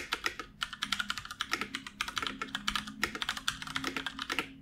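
A full-size black plastic computer keyboard on a wooden desk is typed on continuously, its keys tapped with the fingertips of both hands. The result is a rapid, uneven stream of short, crisp plastic clicks that are bright and clattery with very little low end. Each click dies away almost instantly over a faint, steady low hum.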